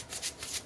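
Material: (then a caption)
Salt. A container of pink Himalayan sea salt is shaken twice, and the loose salt crystals give a soft, hissy, maraca-like rattle. The sound is bright and high-pitched, with almost no low end.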